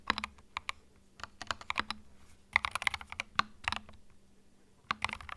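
Fingertips type on a small white 65% mechanical keyboard with plastic keycaps and a hollow plastic case, resting on a felt mat. Bright, short, clacky keystrokes come in quick bursts separated by brief pauses, over a faint steady low hum.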